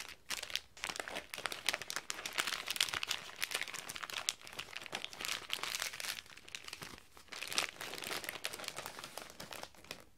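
Fingertips fold metallic gold foil wrapping paper around a small box-shaped item, pressing and creasing its edges. Dense, bright crinkling and crunching runs almost continuously, with quick sharp crackles and a few short lulls. Almost no low end comes through.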